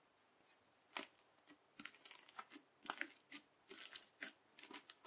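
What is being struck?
Slime filled with plastic beads, pressed with a plastic knife.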